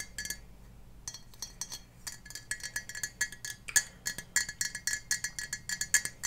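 Long painted fingernails tap the sides and base of a clear Ball glass mason jar, hollow and partly filled with water, held up above foam blocks. The result is a steady run of quick, bright glassy clinks with a pitched ring around 1.7 kHz that dies away almost instantly, some taps sharper and louder than others. A faint low hum sits underneath.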